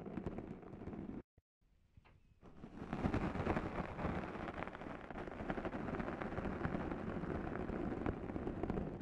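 Two sponge scourers are pressed against the sides of a black foam microphone windscreen and scratched back and forth by hand. The result is a dense, rough, low-heavy scratching and rustling. It drops to near silence briefly after the first second, then returns fuller and louder for the rest of the clip.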